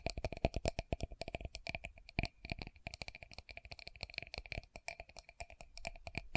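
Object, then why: Small plastic cosmetic jar. Long nails tap rapidly on the sides and base of a small round translucent plastic loose powder jar held in both hands. A quick, uneven stream of dry clicks is heard, each with a faint hollow ring at a mid tone and a brighter upper tone. Each tap dies away almost at once.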